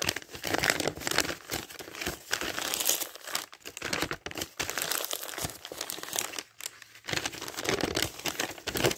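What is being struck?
Thin printed dictionary pages.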